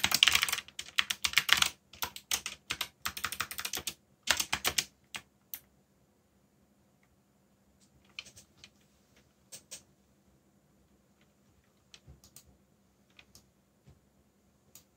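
Fingertips type fast on a backlit mechanical keyboard with black plastic keycaps, producing a dense burst of bright, sharp key clicks for about the first five seconds. The typing then thins out to scattered single clicks and short clusters over a faint, steady low hum.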